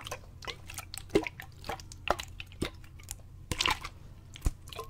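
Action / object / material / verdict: shake / plastic water bottle with water / plastic / none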